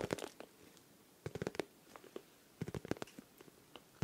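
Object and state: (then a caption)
Plastic pencil case tapped. A hand-sized, hollow, transparent pink plastic pencil case with small colourful items inside is held in both hands close to the microphone and tapped and scratched with fingertips and nails. Quick, dry, hollow clicks and scratches come in three clusters, with a mid-low body around 400 Hz. Quiet pauses separate each burst.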